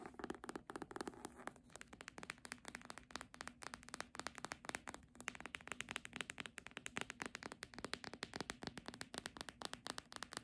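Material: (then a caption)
Cardboard. Long nails tap rapidly across the cover and spine of a red embossed hardcover book. The result is a dense, steady stream of short, dry, clicky taps with a bright edge and a light scratchy texture, and almost no low end or ring.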